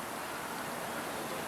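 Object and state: Nothing is struck.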